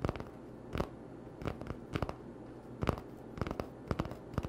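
An empty, hollow cardboard toilet paper tube is held in one hand and tapped and scratched with fingertips and short nails. Quiet, dry, hollow taps come in small clusters, with soft scratching between them over a low, steady hum. Each tap dies away almost instantly.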